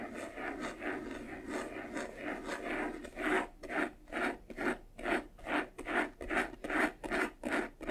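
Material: Faux leather.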